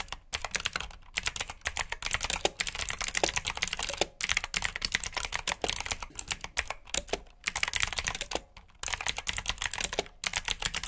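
Fingertips with short nails type steadily on a full-size black plastic mechanical keyboard with RGB backlit keycaps, clicky blue switches and hollow key housings. Rapid, sharp, bright clicks come in quick bursts with brief pauses, each keystroke dying away almost instantly.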